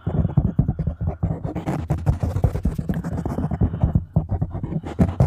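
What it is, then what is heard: Foam microphone windscreen being scratched. A black foam windscreen on a microphone is scratched with long nails and stroked with fingertips across the top. The result is a rapid run of dull, muffled scratching and rubbing bursts, heavy in low rumble, with short swells that come and go throughout.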